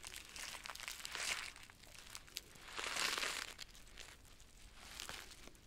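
A yellow Gallina Blanca chicken soup sachet of flexible plastic foil, filled with dry noodles, is squeezed in both hands while long nails scratch and crinkle it. Bright, dense crinkling and rustling swells louder around 1.3 and 3 seconds, with a few sharp ticks in between, then eases to a softer crackle.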